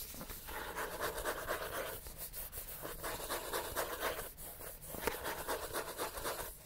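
The paper cover of a thick, solid paperback book is scratched quickly with the fingernails of both hands. The result is a steady, dry, rasping scratch, strongest in the midrange with a bright hiss on top. It comes in dense bursts, with brief dips around 2.5 and 4.5 seconds.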